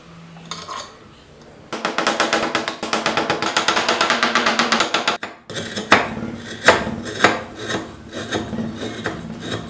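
A small solid wooden block, clamped in a metal vise and being carved into a DeLorean DMC-12 model, is scraped across its top surface by a hand-held metal chisel that curls off shavings. After a quiet start, a fast run of rhythmic, bright rasping strokes begins, stops briefly, then gives way to slower, sharper, separate scrapes.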